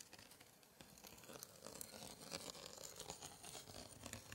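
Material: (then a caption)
Paper. A gloved hand traces and scratches a thin pointer over the right page of an open 1880s antique scrapbook with embossed paper scraps, the same spread throughout. A soft, dense run of dry scratching and crinkly rustling fills the clip, with bright, hissy texture and quick irregular strokes that grow slightly louder after the first second.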